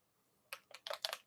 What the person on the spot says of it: When you shake it up, it sounds like a spray paint can.